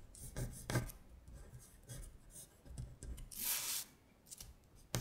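Long stiletto acrylic nails trace the printed words on a thin paper worksheet lying flat on a glittery surface, making soft, bright scratching strokes. The strokes come in a series of short rasps with faint low thumps, and one longer, brighter scrape stands out near the end.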